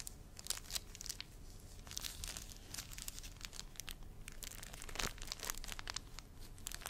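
A thin, transparent, crinkly plastic film sheet is held in both hands, crumpled and rubbed with the fingers around the front of the microphone. It gives a steady stream of sharp, bright crackles and crinkling bursts over a soft low rumble, with each crackle stopping almost instantly.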